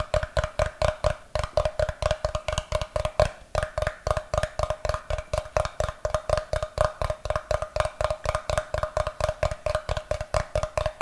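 Fingertips and nails tap and scratch the face of a solid, brick-sized block of unfinished light wood held in one hand. Around 57 quick, dry knocks land in a fast, steady rhythm with only brief pauses, each carrying a low thump and a hollow mid-range tone near 600 Hz. Each knock dies away almost instantly, leaving little ring between strikes.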